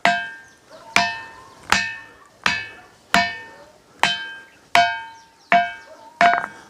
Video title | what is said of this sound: एक ऐसा मंदिर जिसमे पत्थरों में से आती है घंटे की आवाज - काकुन प्राचीन मंदिर - बुंदेलखंड वीडियो | इसमें हम कहीं भी ठोकेंगे उसमें धातु की आवाज आएगी